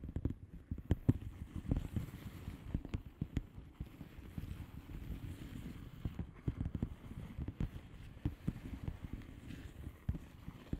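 Long fingernails tap and scratch a flat blue plastic bubble wrap padded envelope with air-filled bubbles. The result is a steady run of quick, dull, low taps over a soft scratchy rustle, with no ring after each hit.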